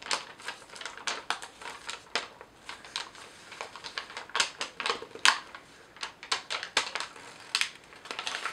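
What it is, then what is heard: Thin paper sheets being crinkled. Thin, slightly crumpled sheets of yellow lined legal pad paper are crinkled and folded with fingertips and long nails. The result is a steady run of sharp, bright crackles and crisp snaps, with short, dry bursts and no low rumble.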